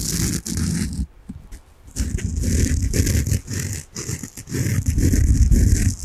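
A large, solid, peach-coloured soft foam sponge is held in front of the microphone and scratched quickly with fingernails. The result is dense, fast, muffled scratching with a deep low rumble and a faint bright hiss, coming in bursts with a brief quieter pause near the start.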